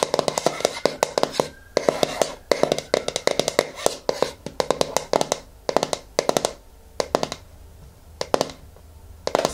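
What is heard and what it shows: Long nails tap and scratch the lid top and rim of a medium yellow plastic hair-mask jar held in the hands. Quick bursts of sharp, dry, clicky taps are separated by short pauses, with soft scratching in between. The taps have a midrange plastic tone with almost no low end and stop dead with no ring.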